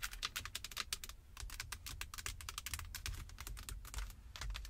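Long acrylic nails and fingertips tap and scratch the rim of a Jeep steering wheel, solid and wrapped in black leather or synthetic, while the car is parked. A rapid, uneven run of sharp, bright clicking taps, each dying away almost instantly, sits over a steady low rumble.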